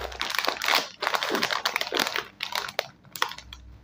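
A small, full, sealed foil-lined metallized plastic snack bag of Scene On Krunch Red Chili Dhamaka chips is turned and crinkled between the fingertips of both hands. Bright, crackly crinkles come in quick, irregular bursts with almost no low end. Each crackle stops dry, with short quiet gaps between them.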